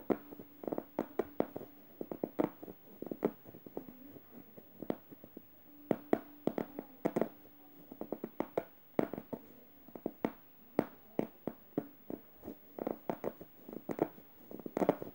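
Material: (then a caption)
Plush fabric. Fingernails scratch and tap the plush fabric of a yellow stuffed emoji pillow near its felt eye, alternating harsh and gentle strokes. Rapid, irregular bursts of dry, soft scraping and muffled taps follow one another with no ring. The overall sound is quiet, with a faint steady low tone underneath.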